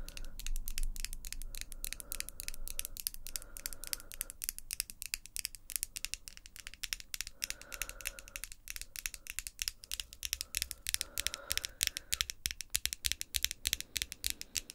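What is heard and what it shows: Long glossy pink acrylic nails are tapped rapidly against one another, tip on tip. The result is a dense, irregular stream of sharp, bright clicks with almost no ring, over a faint low rumble and a few brief soft hums.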